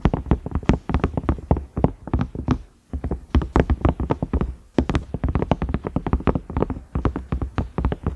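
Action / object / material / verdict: tap / silicone microwave lid / silicone / none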